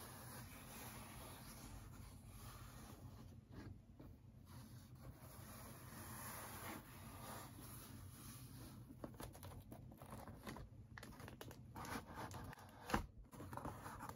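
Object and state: Cardboard shipping box.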